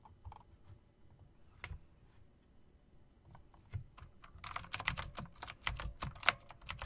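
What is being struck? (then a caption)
Plastic and metal mechanical keyboard keys. Long dark nails and fingertips click the keys of a plastic and metal typewriter-style RGB mechanical keyboard with round plastic keycaps set in chrome rims. A few scattered, quiet clicks give way after about four and a half seconds to faster, denser typing. Each key gives a sharp, bright click over a soft low thump that dies away almost instantly.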